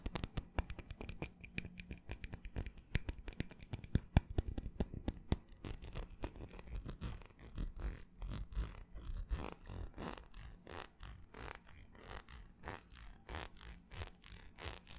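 Fingernails scratch and tap the ridged outer surface of a small, empty, hollow ribbed cut-glass tumbler. The result is a rapid stream of short, dry clicks and scratchy strokes. They start fast and dense, then settle into a steadier rhythm of softer, separated scrapes.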